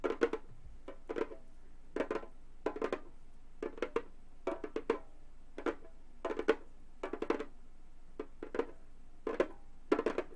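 Gold metal claw nails tap and drum on the synthetic skin head of a hollow Remo frame drum. Quick bursts of light, clicky taps come in irregular clusters, each dying away almost at once with a faint, hollow midrange body around 445 Hz and a bright nail click on top.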